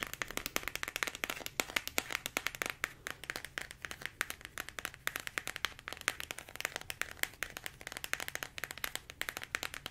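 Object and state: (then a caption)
Plastic squeeze tube. A medium-size pink soft plastic body-care squeeze tube with a white cap, filled with product, is held in both hands and tapped rapidly with long acrylic nails. The result is a fast, steady stream of sharp, bright, dry clicks with no ring after each tap.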